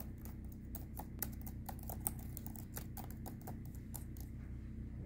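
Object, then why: Plastic laptop keyboard. A hand with long red-painted nails types rapidly on the light plastic chiclet keys of a silver HP laptop. It produces a quick, irregular stream of short, bright key clicks over a steady low hum.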